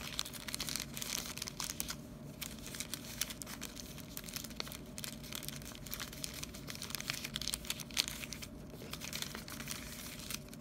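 A hand-sized clear plastic bag full of printed stickers is held in one hand while the fingers squeeze and crinkle the plastic. A dense, bright crackling runs for about ten seconds, with brief quieter gaps near the 2- and 8.5-second marks. A faint steady low hum sits underneath.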